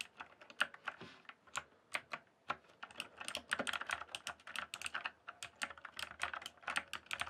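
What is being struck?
Mechanical keyboard with plastic keycaps.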